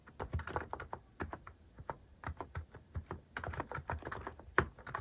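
Fingertips type quickly on a cream mechanical keyboard fitted with sculpted plastic cat and paw keycaps. The result is a rapid run of short, dull clicks and thocks with a low, rounded body and little brightness, each dying away almost at once.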